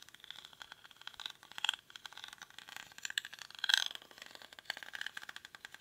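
Fingernails scratch the weave of a small, hollow woven rattan or reed basket held in both hands. The result is a dense, dry, rapid crackling and scratching that is bright and thin, with almost no low end and a recurring tone around 3.3 kHz. The scratching swells into louder bursts near 1.7 and 3.7 seconds.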